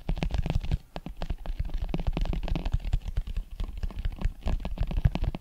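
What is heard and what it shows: A brown leather Wilson American football with white laces, hollow and inflated, is held close to the microphone and scratched and tapped with long metal claw nails and fingertips. Rapid, closely spaced taps and scratches give dull, boomy thumps with a deep hollow resonance and faint bright clicking on top.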